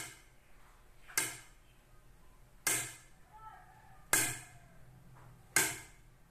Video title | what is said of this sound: SCIENCE 4 QUARTER 3 WEEK 6 - HOW SOUND TRAVELS IN DIFFERENT MATERIALS | the sounds differ in loudness when i tap the wooden chair in different strengths